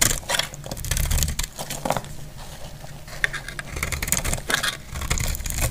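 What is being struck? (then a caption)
Lavender soap bar shaved with a metal blade. A solid, dry lavender soap bar held in the hand is shaved with a metal blade, and curls fall off. Quick, bright, crisp scraping strokes come in bursts over a steady low hum.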